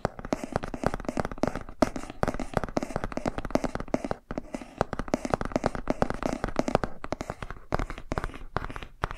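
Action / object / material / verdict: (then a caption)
scrape / laminated cardboard board book / cardboard / none. A laminated cardboard board book is first held by its edges and then held upright while fingernails scratch and tap along its page edges and cover. The result is a dense, steady stream of dry, quick scratches and tiny taps with a hollow, papery mid tone and almost no ring. The sound pauses briefly near the middle before resuming.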